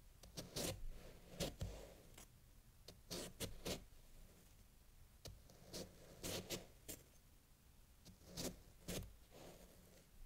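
A chef's knife slices downward through a solid block of packed fresh snow resting on a green towel, while the other hand steadies the block. Each stroke makes a short, crunchy burst with a bright, crisp crackle and a soft low thud. The cuts come in uneven clusters separated by quiet pauses.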